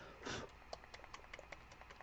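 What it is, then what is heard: Paint bottle with a rattling mixing ball. A bottle of black ceramic underglaze paint is shaken so the mixing ball inside rattles, which is needed before some is put out on the palette. A brief louder swish is followed by about eight light, bright clicks as the ball knocks inside the bottle.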